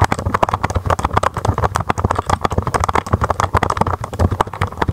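Fingertips with long nails type steadily on a mechanical keyboard with white, blue and red plastic keycaps. The result is a rapid, continuous stream of short, dry clacks, each with a deep thock and a sharp mid-range tick.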